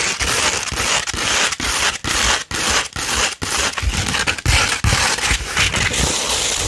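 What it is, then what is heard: Sandpaper sheet being scratched. Long red nails scratch a slightly curved sheet of 240 grit sandpaper, making dense, bright, gritty rasping. The strokes come at an uneven pace of roughly two per second, separated by brief pauses, with occasional low thumps as the sheet flexes.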